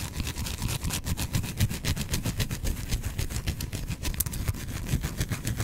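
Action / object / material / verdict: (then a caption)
scrape / bar of soap / soap / none. A solid, hand-sized white bar of soap is scratched with fingernails close to the microphone. Rapid, uneven scratching strokes come about three to four per second, each a short, dry, bright scrape over a steady low rumble.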